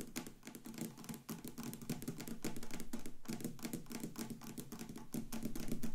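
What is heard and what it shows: Very long pointed acrylic nails tap rapidly on both sides of a solid clear acrylic/resin block with a light bulb cast inside, standing on a wooden table with a flashlight resting on top. The taps come as a dense, irregular stream of short, dull clicks with a low-mid tone near 234 Hz and almost no ring, growing slightly louder toward the end.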